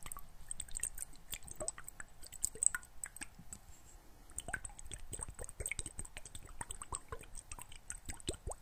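A small clear glass bottle, partly filled with water, is shaken and tilted so the water sloshes while nails click against the glass. The clip is quiet and busy with short, sharp clicks and dripping, squishy liquid sounds, plus a faint high steady tone.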